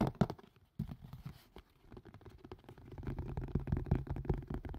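A green and white plastic and silicone collapsible colander, hollow, is tilted and turned near the mic while fingertips and nails tap and scratch it. Dense, irregular, dull low thuds mix with soft scratching, with a brief quiet gap early on. The tapping then grows steadily busier and louder.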